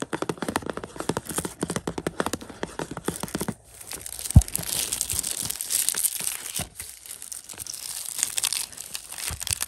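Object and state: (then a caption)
Plastic-sleeved disc case being scratched. Fingertips scratch and crinkle the clear plastic outer sleeve on a hollow 4K Blu-ray case of Inception. A quick run of dense, dry scratches fills the first few seconds, then gives way to softer, airy crinkling with one sharp click partway through. Brief scrapes and rustles follow.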